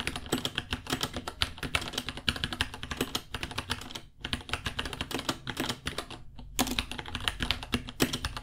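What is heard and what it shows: Both hands type with their fingertips on a small white 66-key mechanical keyboard with Gateron Brown switches, white plastic keycaps, a hollow case and pink underglow, resting on a white desk. Rapid, bright, clacky key taps with short decay run in a steady stream, pausing briefly around four seconds and again just past six seconds before the typing resumes.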